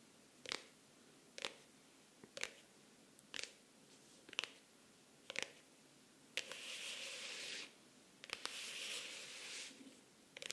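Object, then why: Faux-leather hardcover notebook. Fingernails slowly scratch and rub the cover of a pink faux-leather hardcover planner with an embossed logo. Short, bright scratches recur about once a second, then give way to longer, sustained rubbing strokes across the surface. The sound is dry and high, with almost no low end and no ringing.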